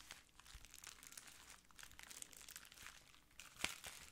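A clear plastic bubble wrap sheet is rubbed with fingertips, then crumpled and squeezed in both hands. The result is a quiet, steady run of bright, dry crinkles and crackles with almost no low end, and a sharper, louder crackle near the end.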